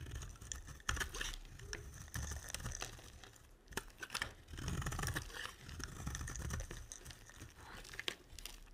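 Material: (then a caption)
Soap. A utility knife blade scrapes and carves a solid, dry light blue bar of soap, sending flakes falling. Crackly, crumbly scraping comes in uneven bursts with occasional sharp clicks, with a soft low rumble under bright crisp texture.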